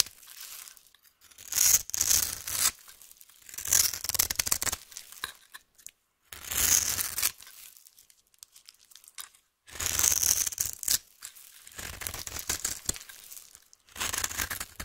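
A metal knife cuts and scrapes a solid pink-and-white striped bar of soap held in the hand, breaking it into crumbs. Bright, crisp, tearing scrapes come in bursts with quieter gaps between them, carrying almost no low end.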